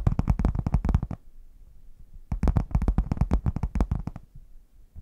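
Long nails and fingertips tap and scratch the front panel of a red padded faux leather zip case with a chocolate print, hollow and closed, held upright in front of the microphones. Two bursts of rapid, dull, low thumping taps are heard, separated by a quiet pause, with a brief quiet tail at the end.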